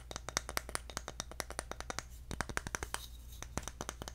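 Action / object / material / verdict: tap / bamboo jar lid / bamboo / none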